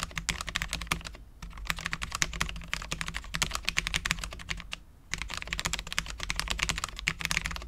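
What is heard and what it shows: A full-size Cherry MX10.0 low-profile mechanical keyboard with Cherry LP switches, dark ABS keycaps, a steel plate and no foam is typed on continuously with the fingertips of both hands. The rapid, crisp, bright key taps centre around 2.1 kHz over a faint low hum, with brief pauses near 1.3 and 5 seconds.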